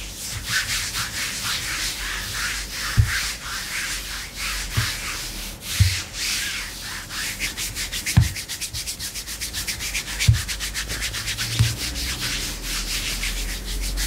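Long pink-painted nails on both hands scratch and rub black glossy faux leather leggings stretched thin and soft over the thighs of a seated person. A steady, bright scratching hiss pulses with quick rhythmic strokes, broken now and then by soft low thumps as the hands shift on the leg.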